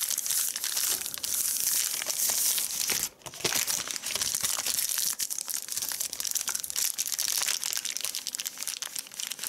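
A thin, shiny white plastic bag lying flat and crinkled on a dark surface is pressed, rubbed and crinkled with the palms and fingertips of both hands. A steady, bright crackling rustle runs throughout, with a brief near-silent gap just after three seconds.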